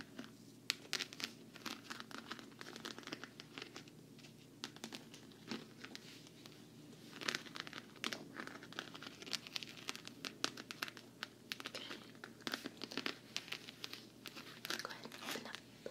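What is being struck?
Quilted patent vinyl travel case.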